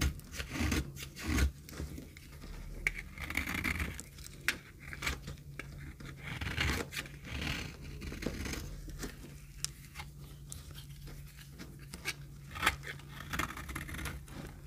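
A knife cuts and scrapes flakes from a solid, dry pink soap bar held in the palm. The clip is a steady run of dry, rasping, crumbly scrapes and short crunchy cuts with bright edges and a low hum underneath.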